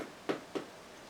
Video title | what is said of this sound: Sweet Potao Bread - video recipe | If you rap on them, it should sound hollow.